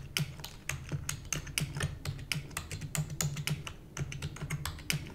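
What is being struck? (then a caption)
Plastic computer keyboard keys. Long nails type rapidly on a black plastic computer keyboard. Quick, uneven bursts of sharp, bright clicks and clacks, each with a dull low thunk, repeat with short gaps of quiet between keystrokes.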